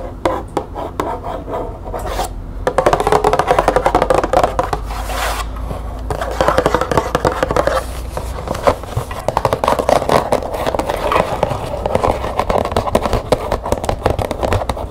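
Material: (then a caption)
Cardboard. Long nails rapidly tap and scratch the front face of a small printed cardboard green tea box, close up. Dense, dry papery clicks and scrapes run steadily through the clip, sitting in a hollow midrange with little low or high content, with a brief softer gap near the start.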